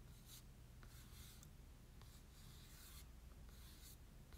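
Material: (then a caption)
Cardstock. A large printed Pokémon Légendaire promo card made of glossy cardstock is held in the hands and scratched and rubbed with short nails. Repeated bursts of dry, bright scratching and rubbing sweep across its surface, some short and some drawn out, over a steady low hum. The sound is quiet overall.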